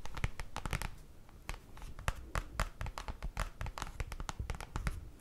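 Fingers tap on paper in a quick, uneven run of short, dry taps. Each tap has a soft low thump and a crisp, crinkly top that dies away almost at once.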